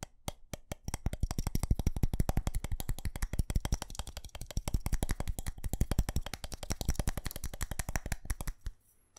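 Fingernails rapidly tap and scratch the surface and colored plastic bulbs of a small white ceramic light-up Christmas tree held in the hands. The result is a dense run of short, dry clicks with a low thud under each, going quiet at the very end.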